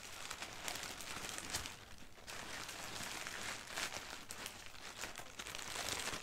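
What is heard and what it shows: A crumpled sheet of thin white printed tissue wrapping paper lies on carpet while long painted nails scratch and crinkle it with both hands. The result is a steady, bright crinkling and rustling that lasts about six seconds, with brief louder swells and no clear separate hits.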